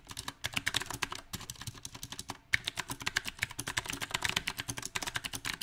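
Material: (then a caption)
Plastic. Fingertips of both hands type on a small 68-key backlit mechanical keyboard with round typewriter-style plastic keycaps set on a silver metal plate. Dozens of quick, bright, clicky keystrokes come at an uneven pace, each dying away almost instantly, with occasional louder taps and a light low thud underneath.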